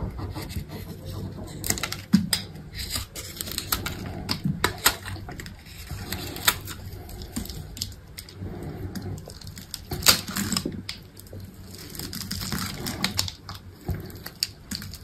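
A solid green bar of soap, scored in a grid pattern, has cubes cut and scraped off with a utility knife. Many short, dry, crisp cutting and crumbling clicks sound over a soft low rumble, with bright scraping textures and sharper cracks near 2 and 10 seconds.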